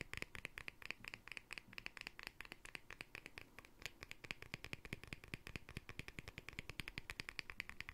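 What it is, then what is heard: Glass jar with plastic lid. Fingertips and nails rapidly tap and scratch the edge and face of the green plastic lid, white in the center, on a small hollow glass jar held up close. The result is a steady stream of dozens of short, dry clicks with no ring, centered around 2.4 kHz with a bright, scratchy top over a soft low rumble.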